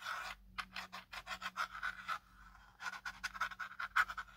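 Fingertips and nails scratch and tap along the ridged plastic arms and hard, hollow plastic body of a small black folded drone held in hand. A quick series of short, dry scratching strokes with a midrange rasp stops briefly partway through, then resumes.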